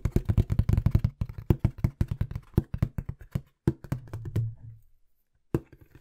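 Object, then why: Small corrugated cardboard box. Rapid fingertip tapping on a small, hollow-looking, empty brown corrugated cardboard box held close to the mic. The taps land as fast, dull, low thumps with almost no ring. The flurry slows and gives way to a softer rustling stretch, then falls silent before a few final taps at the end.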